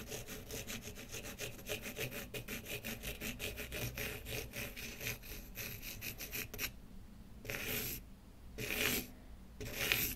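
A pen tip scratches back and forth across the grain of a small, solid, light wooden block held in one hand, coloring it with dark strokes. Quick, bright, dry scratching strokes run steadily for about six and a half seconds. Then three slower, separate scrapes follow with brief quiet gaps between them.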